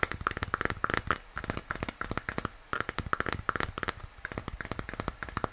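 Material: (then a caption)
Plastic. Fingers tap and scratch the sides of a hollow plastic moon lamp's shell while it is held in both hands. The result is a fast, uneven stream of short, dry clicks with a faint hollow ring around 1.3 kHz, mixed with soft scratchy rustles and brief pauses.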